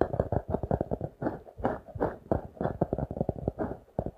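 A notebook with a glossy laminated card cover, held upright, is tapped and scratched with fingertips and nails. A quick, uneven run of soft, dull taps mixes with brushing scratches, all muffled and lacking any bright edge. Each tap dies away almost at once.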